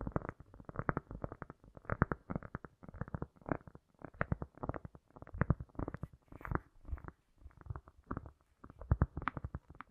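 A round solid cork disc is tapped and scratched quickly with the long nails of both hands, with an echo effect added. The result is a fast, uneven stream of soft, dull, low clicks and brief scratchy bursts that come in clusters and die away almost instantly, with almost nothing bright on top.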